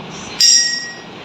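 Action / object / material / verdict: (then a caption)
strike / glass filled with water, struck with a spoon / glass / full. A glass filled to the top with water is struck once with a spoon, giving a short, high clink that rings briefly and fades within about half a second. The full glass gives a slightly muffled sound compared with an empty one.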